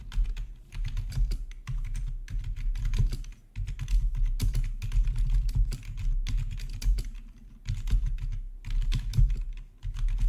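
Fingertips type steadily on a black plastic RGB backlit membrane keyboard with a hollow body. The keys give quick, soft clicky taps over a low, boomy thud, coming in bursts with brief pauses between them.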